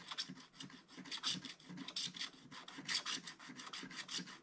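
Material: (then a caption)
Coated paper. A wooden stylus scratches dense strokes across a tree on a black-coated scratch-art book page. Quick, bright rasping strokes repeat in uneven bursts, with a faint low body under each scrape.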